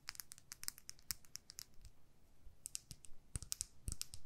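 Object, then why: Small plastic lip gloss tube tapped with fingernails. Long nails tap and click on a small clear plastic lip gloss tube filled with pink gloss. The result is a quick, irregular run of sharp, bright clicks that die away almost instantly, over a faint low background hum.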